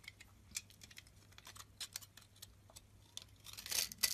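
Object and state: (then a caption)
Bar of soap being cut and scraped. A metal utility knife blade scrapes and cuts a solid blue soap bar with a scored grid surface, held in the hand, into small cubes, with carved soap roses resting nearby. Quick, dry, crisp high-pitched ticks and scratches come in an uneven series, building into a denser burst of scraping near the end. Each sound is short and bright, with almost no low end and no ring.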